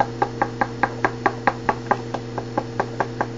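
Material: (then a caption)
Composite. Knuckle-like knocks are tapped along a new Tour Spoiler WAVE composite hockey stick shaft, before any heat treatment. Sixteen short, dull knocks with almost no ring come in a steady series over a constant low hum. A faint loose rattle inside the shaft, which should be empty, points to part of the internal bond not being stuck well.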